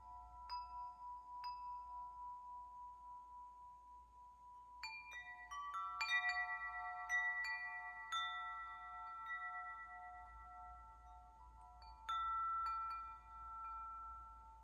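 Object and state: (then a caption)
Metal tube wind chime. A hollow metal tube wind chime hangs from its string while a hand strikes and shakes the tubes, giving about eight bright, bell-like hits. Each hit leaves clear overlapping tones that ring for nearly two seconds. The tones layer into a shimmering, sustained wash, with the main pitch near 2 kHz.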